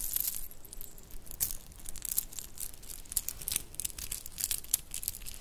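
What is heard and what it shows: A shell and bead bracelet with metal spacers is rubbed between the hands and scrunched in the palm. It makes a quiet, rattling, crinkly jingle of many quick, bright clicks and clinks that die away at once.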